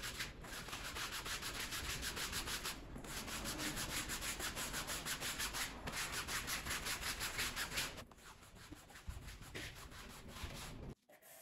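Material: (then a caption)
Textile. A green push broom scrubs back and forth across a small, wet, soapy, bear-shaped pile rug lying flat on a plastic sheet. It makes a steady, rhythmic, bright bristly swishing, about three strokes a second, that eases off after about eight seconds and stops just before the end.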